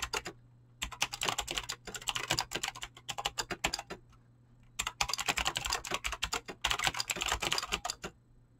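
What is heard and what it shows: Fingertips type fast on a mechanical keyboard with clicky green switches and PBT plastic keycaps. Rapid runs of sharp, bright clicks come in bursts separated by short pauses. A faint low hum sits underneath.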